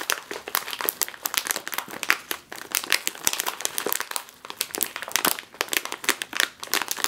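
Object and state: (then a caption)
Plastic chip bag being crinkled. A full, sealed foil-lined plastic chip bag, back side up, is squeezed and crinkled against a table by two hands with long nails. Dense, bright crackling and crinkling comes in quick overlapping bursts with no low-end body, each crackle dying away almost instantly.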